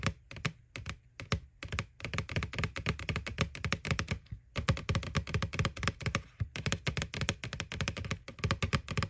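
Long nails tap rapidly on the side wall of a small, hollow white plastic ghost Halloween candy bucket from McDonald's, right over its printed face. The result is a steady stream of quick, dry clicks with a hollow, low thunk beneath each one. The taps stop almost at once, and the flurries break off in a few brief pauses.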